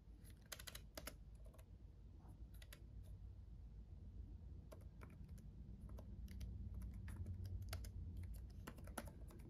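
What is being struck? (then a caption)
Plastic laptop keyboard keys. Fingertips of both hands tap the red backlit plastic keys of a black laptop keyboard while typing. Quick, light clicks come in uneven bursts over a steady low rumble, and the sound grows slightly louder toward the end.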